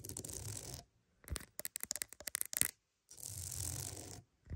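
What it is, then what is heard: Wooden mat. A wooden mat is scratched with a steady, bright rasp, then tapped in a quick run of sharp, dry clicks that stop with no ring. The scratching then resumes and fades, and a new stroke begins at the very end.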